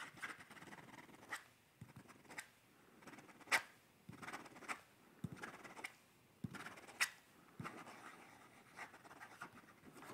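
A pencil scratches and strokes across the paper page of a sketchbook held up close while someone sketches. Thirteen separate bright, papery strokes of uneven spacing rise out of a quiet, hissy background, each one short and dry with almost no ring.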